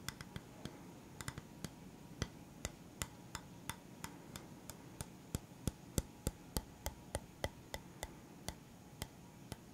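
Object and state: Bamboo round stand, tapped.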